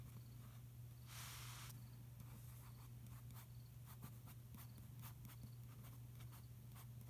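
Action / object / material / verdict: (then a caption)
scrape / glossy paper magazine page / paper / none. A fingertip traces and rubs across a supplement ad page of an open magazine made of thin, flexible glossy paper, lying flat on a carpet. A steady low hum sits under a longer bright rubbing swish near the start, followed by a series of short, light, scratchy strokes.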